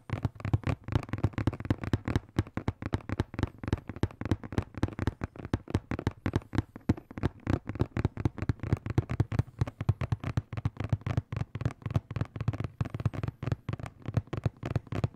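A hollow blue and black printed cardboard product box is tapped and scratched with fingertips and nails on its front and sides. Quick, dry, hollow taps come in a steady rapid stream, with soft scratching between them. The sound is mostly low and thuddy with almost no high ring.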